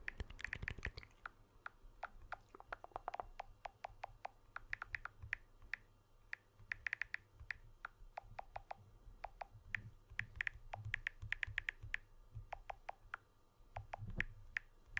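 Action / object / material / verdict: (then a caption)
tap / smartphone with aluminium frame and glass back / aluminium / none. Fingertips and nails tap the aluminium frame edge of a blue smartphone with a glass back, held edge-on. Dense, rapid, sharp clicks with a bright tick around 1.9 kHz die away almost instantly, coming in quick clusters over a faint low background hum, with a louder flurry at the very start.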